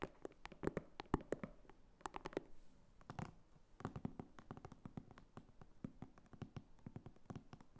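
Long fingernails tap and scratch the back of a small red croc-embossed faux leather clutch wallet with a flap and metal snap, standing upright on a table. The result is a quiet, steady run of short, dry taps and soft scratches with a dull low thud and almost no ring.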